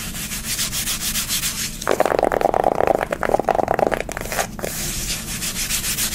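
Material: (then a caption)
Cardboard. Long nails rub and scratch a flat, rectangular pink soft-touch cardboard eyeshadow palette held in the hand. A soft, hissy rubbing gives way to a louder, rapid scratching with a mid-pitched rasp from about 2 to 4.5 seconds, then settles back into gentle rubbing.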